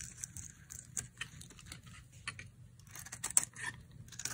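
A utility knife blade carves slices off a dry, solid white soap bar with a blue pattern, held in the hand. The cuts make a quiet series of short, bright, crisp scraping and crackling sounds with very little ring, over a faint low rumble.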